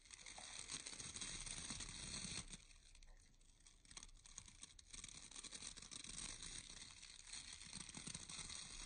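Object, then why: Round bristle hair brush with wooden core. Fingertips rub and scratch through the bristle rows of a round bristle hair brush with a wooden core. The result is a dense, bright, crinkly scratching with a steady crackling texture. It softens briefly near the middle before picking back up.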